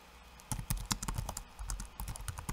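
Fingertips of one hand type quickly on a backlit laptop keyboard with plastic keycaps. After a brief quiet start, rapid, irregular keystrokes follow, each a dull low thud with a bright plastic click that stops almost at once.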